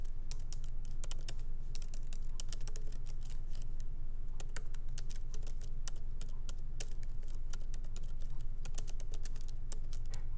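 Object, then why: Laptop keyboard with plastic keys in an aluminium body. Light fingertip typing with both hands on a MacBook Pro laptop keyboard, its small plastic keycaps set in an aluminum body, resting on a wooden desk. Quick, short, irregular clicks with bright, crisp tops sound over a steady low hum throughout.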